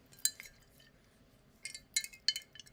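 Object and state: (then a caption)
Glass bottle tapped. A bottle is tapped for good luck while waiting on a trade. About eight quiet, bright clinks come in scattered clusters, each dying away almost instantly with no low end. Nothing is judged about the bottle's state or contents.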